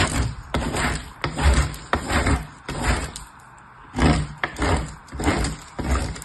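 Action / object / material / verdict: scrape / soap bar on a metal box grater / soap, metal / none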